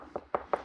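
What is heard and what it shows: Three short, dull knocks on a ported speaker cabinet housing a down-firing eight-inch woofer. Each tap dies away almost instantly with no hollow ring, and the box sounds dense and inert, like stone.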